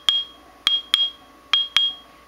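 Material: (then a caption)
Bonded abrasive. An abrasive grinding wheel, held loosely on a rod or screwdriver, is tapped five times in a couple of spots. Each tap gives a clear, high ringing tone around 3.3 kHz that decays briefly. The ring marks it as a good wheel with no cracks.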